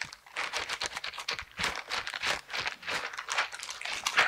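Silicone dishwashing gloves with bristles are worn on both hands, and the hands are clasped and rubbed together. The bristles make a bright, dry rasping and crinkling sound in quick, uneven bursts with no low end.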